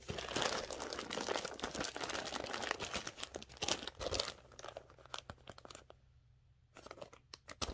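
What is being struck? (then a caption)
Plastic poly mailer bag. Long dark-painted nails and fingertips grip, rub and crinkle a flexible, hollow, floral-printed plastic poly mailer with a shipping label, held in both hands while turning it over and starting to open it. Dense, bright crinkling and crackling fill the first four seconds, then thin to scattered sharp crackles with a near-silent pause before a final burst of crinkles. A faint low hum sits steadily underneath.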